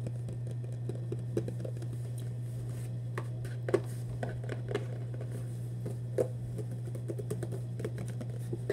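A hollow Vans cardboard shoebox, held close, is tapped with fingertips on its side and lid. The taps are soft, dull and short, scattered irregularly over a steady low hum, with a few louder knocks standing out.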